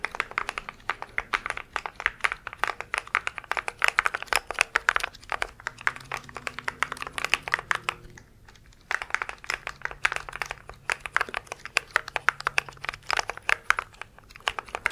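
A compact mechanical keyboard with plastic keycaps is held vertically and tilted while fingertips quickly press and tap many keys. The result is a dense stream of short, bright plastic clicks and clacks, with a brief pause just after the middle before the rapid tapping resumes.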